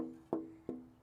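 A braced wooden classical guitar top is held and gently tapped twice with the felt piano-hammer end of a homemade rosewood tap tone hammer. Each tap gives a soft, woody knock with a short resonant tone near 324 Hz that fades within about a tenth of a second.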